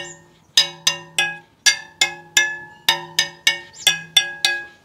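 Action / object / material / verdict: tap / carbon fibre bicycle wheel spokes / carbon fibre / none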